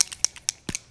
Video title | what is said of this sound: RARE BEAUTY by Selena Gomez - FIRST IMPRESSION TRY ON - #thisis60 | you can hear it does have a little um ball in there to really shake it up well